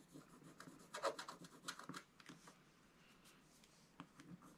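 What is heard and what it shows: A wooden stylus scrapes a scratch-art coated paper page in a spiral book with quick, short strokes that reveal the colour underneath. The result is a quiet series of dry, bright, rasping scratches, with a softer lull before a few final strokes.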